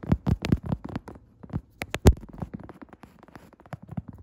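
Long red nail tips tap and scratch a padded woven upholstery chair seat. The result is a quick, uneven run of short, dull, low thumps mixed with soft, brushing scratches, each dying away almost at once.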